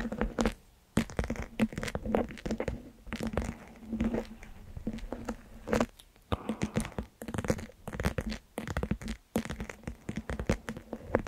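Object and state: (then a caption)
Plastic gel-bead pouch. Long pointed nails of both hands continuously tap and scratch the surface of a small, squishy plastic Orbeez gel-bead pouch resting on top of a microphone. The result is a dense, close-up stream of soft crinkly taps and scratchy rubs with a muffled, mostly low-to-mid tone and little brightness. Brief pauses fall near the one-, six- and nine-second marks.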